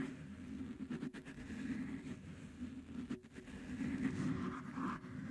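Fingertips and nails of both hands scratch and rub in place over blue cohesive fabric flex grip tape wrapped on a metal microphone head. The result is a steady, dense, low scraping rustle centred around 260 Hz, with faint brighter swishes that rise and fall as the rubbing continues.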